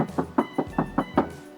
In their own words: Pintu ni confirm sebab bila kita ketuk bukan bunyi besi. Tu bunyi simen.